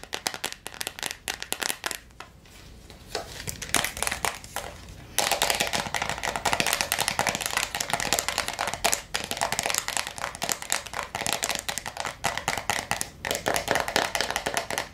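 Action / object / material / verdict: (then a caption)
tap / plastic jar filled with water beads / plastic / none. Long nails tap fast on the lid of a clear plastic jar full of blue water beads, then on the jar's flat plastic bottom. The rapid, bright clicks come in dense bursts, softer and sparser early on, then louder and continuous from about five seconds on.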